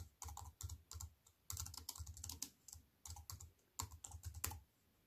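A compact wireless keyboard with black plastic keys in a thin silver aluminium frame, resting on a wooden table, is typed on with fingertips and long white nails. Quick runs of short, clicky keystrokes come in bursts separated by brief pauses, each with a soft low thud under a bright, crisp tap that dies away almost at once.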